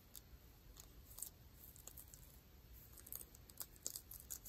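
Long nails scratch dark ripped denim jeans over the knee, catching on the frayed threads, with a microphone nearby that is not touched. Quiet, irregular, bright scratchy rasps and short clicks sit over a low rumble.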